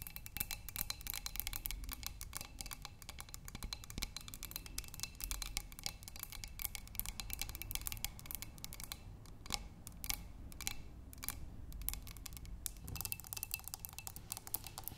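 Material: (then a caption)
Glass. Long nails tap rapidly on the walls of a clear glass vase holding tulips, partly filled with water, with attention on the lower part of the vase. The taps come as a dense stream of quick, bright clicks with short glassy rings around 820 Hz and higher tones, over a soft low background hum.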